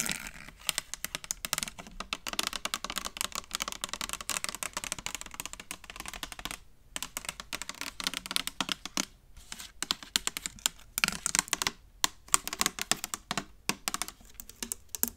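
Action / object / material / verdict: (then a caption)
tap / clear plastic spray bottle / plastic / none. Long nails tap rapidly along the sides of a hollow, partly filled clear plastic spray bottle with a black trigger head. The result is a dense stream of quick, bright, clicky plastic taps, with very little low end and a few brief pauses between flurries.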